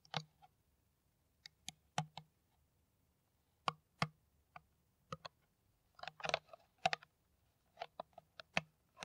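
Long nails tap an empty, hollow, clear ridged PET plastic water bottle with its cap on, held upright. Quiet, sharp, dry clicks come in an irregular series, sometimes single and sometimes in quick clusters. Each tap is bright and stops almost at once, over a faint low hum.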